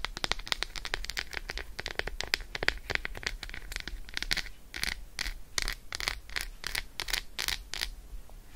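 Long acrylic nails rapidly scratch and rub over the embossed squares of an unwrapped Roshen milk chocolate bar, a solid slab held in the hand. The sound is a dense run of short, dry, bright scratches and crackly clicks that die away almost instantly, with a faint low rumble underneath.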